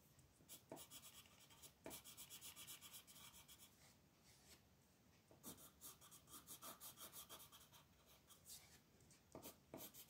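A green colored pencil is rubbed and scratched across a flat paper coloring book page in shading strokes. Quiet, bright, papery scratching comes in rapid bursts of back-and-forth strokes, separated by short pauses and softer rubbing.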